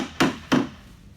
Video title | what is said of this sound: Assembling Uline Rubbermaid Cart - Filmed with iPhone 7 - Unboxing 101 | you can hear it become Hollow to a solid sound